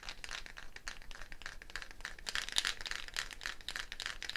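A hollow dried gourd shaker wrapped in a wooden bead net is held up and shaken, its beads rattling against the shell. The result is a quiet, continuous, bright rattle of dense, irregular clicks and crinkly swishes, with each tap dying out almost instantly.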